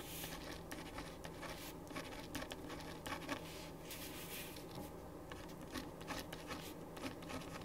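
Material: Paper.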